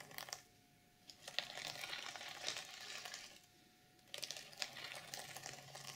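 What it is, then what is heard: Sequin fabric journal cover. Long nails scratch and drag across a black, reversible sequin fabric journal cover on a notebook lying flat. Bright, crackly, rustling scrapes come in sustained bursts with quiet pauses between them.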